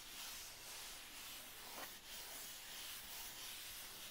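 Long red fingernails on both hands scratch and rub a flat, hollow brown corrugated cardboard mailer box with a printed logo, resting on a dark blanket. The result is a steady, quiet, bright hissing scrape with no distinct taps, swelling and easing slightly as the nails move across the surface.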